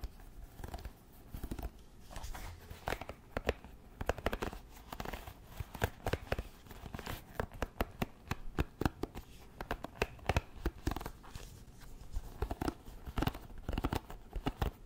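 A wooden paddle hairbrush is held upright while long nails scratch along its wooden pin bristles. The result is a steady run of quick, dry, crackling scrapes that are weighted toward the low end and have no ring.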